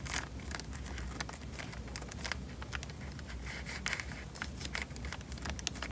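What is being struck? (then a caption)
Plastic bag filled with water. A small, square, clear plastic bag full of water is held above a microphone in both hands and pressed and rubbed with the thumbs. Bright, crisp crinkles and quick crackling taps rise repeatedly over a steady low rumble, with soft squishy rustling between them.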